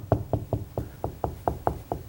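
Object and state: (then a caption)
Solid wall at stud location. Nine knocks on drywall beside an electrical box, each a short, dull, low thump with almost no high end that dies away quickly. The solid sound marks the wood stud behind the wall, where the box is nailed to the side of the stud.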